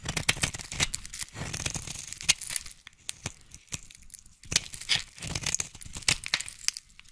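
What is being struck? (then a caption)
Bar of soap cut with a knife blade. A utility knife blade scrapes and cuts curls from a solid pink bar of soap held in the hand. Bright, crisp scraping and crackling strokes come in quick bursts, with short sharp clicks and brief pauses between passes.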